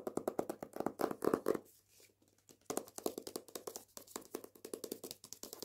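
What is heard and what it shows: A hardback copy of "Jews Don't Count" with a paper dust jacket is tapped and scratched with nails and fingertips across the front and back of the jacket. Quick, dry papery taps with a soft hollow body around 350 Hz come in a rapid, uneven run, with a short quieter stretch of faint scratching in the middle.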